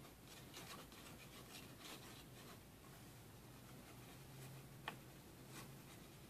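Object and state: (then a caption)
Paper sticky note. A small, thin pink paper sticky note is held in one hand and rubbed and scratched with a fingertip and nail. Soft, dry, papery brushing and scratching strokes come in quiet bursts over a low hum, with one sharp tick standing out near the end.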